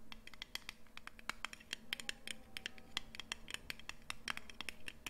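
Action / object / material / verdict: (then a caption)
tap / small round metal cream tin with lid / aluminium / none. A small round blue Nivea cream tin with a lid, likely aluminium, is held in both hands close up and scratched and tapped with long painted nails. A quick, irregular stream of sharp metallic clicks and scrapes rings briefly around 3.2 kHz with bright edges, over a faint steady low hum.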